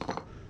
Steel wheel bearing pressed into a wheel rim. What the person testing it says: when the bearings all the way down there because you'll tap it it'll make a different sound